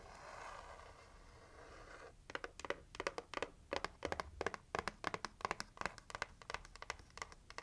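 Long nails scratch and tap a red printed heart-shaped cardboard gift box held in the hands, working over the lid and edges. The first two seconds are a steady, hissy scratching. Then come quick, irregular, dry taps with short bright clicks and almost no ring.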